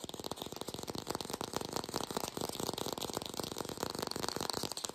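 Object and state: Plastic fake apple.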